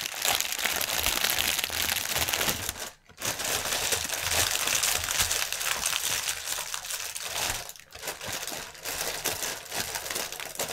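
Fingertips and nails scratch the film of a strip of inflated, hollow, air-filled clear polyethylene air cushions lying on a table. The result is a dense, continuous, bright crinkling and crackling with little low end, broken by two brief quiet dips at about 3 and 8 seconds.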